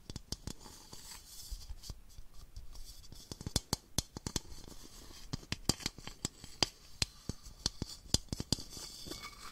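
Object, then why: Small plastic baby bottle. A small, hollow, empty clear plastic baby bottle with a yellow collar and a clear cap is held in one hand and tapped and scratched along its body with long fingernails. Sharp, dry, bright clicks come in an irregular stream over a soft, hissing scratch. Each tap dies away almost instantly.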